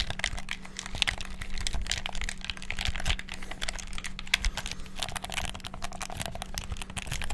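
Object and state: Plastic game controller buttons.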